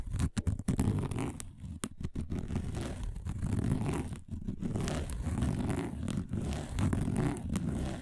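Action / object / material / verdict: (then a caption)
scrape / woven plastic placemat / plastic / none. Fingernails scratch fast across a round, flat, dark woven plastic placemat. The result is a dense, continuous rasping scrape with a strong low rumble underneath, broken by a few brief gaps where the scratching pauses.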